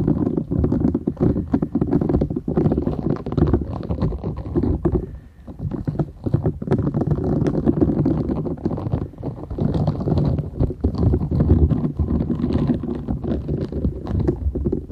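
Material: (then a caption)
Silicone. Long nails scratch and squeeze a thin, solid, flat purple silicone scrubber sponge with short bristles, held folded in both hands. It makes a dense, continuous stream of low, muffled scraping and rubbery rustling, with many rapid overlapping strokes. The sound eases briefly around the five-second mark before it resumes.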